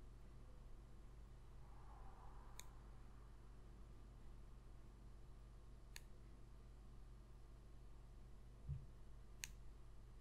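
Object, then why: Thin cardboard trading card. Long pointed red nails tap and scratch the back of a single small, thin printed cardboard football card showing player stats, held in one hand. A few sharp, bright clicks stand out sparsely over a quiet, steady low hum, with a soft dull thump near the end.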